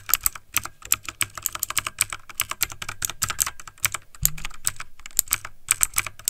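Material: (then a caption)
Plastic. Fingertips of both hands type fast on a backlit plastic mechanical computer keyboard, producing a rapid, steady stream of sharp, bright key clicks with little low end. Each tap is crisp and dies away almost instantly, and a brief low thump sounds near the middle of the run.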